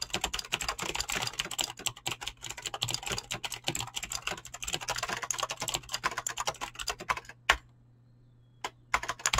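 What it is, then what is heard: Mechanical keyboard with PBT keycaps. Fingertips with short painted nails type fast on a full-size mechanical keyboard with Razer green clicky switches and pink-blue PBT plastic keycaps, resting on a desk. A dense, rapid stream of sharp, bright clicks runs for about seven seconds over a faint steady low hum, then a single loud keystroke is followed by a near-silent pause before a few final clicks.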